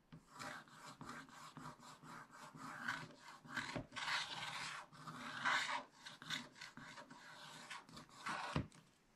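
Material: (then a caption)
Coated paper. A wooden stylus scratches the black coating off a scratch-art page in a spiral-bound book, working over a giraffe and leaves with back-and-forth strokes. Dry, raspy scraping comes in rapid bursts, bright and papery with a faint low body, and the strokes run nearly without pause.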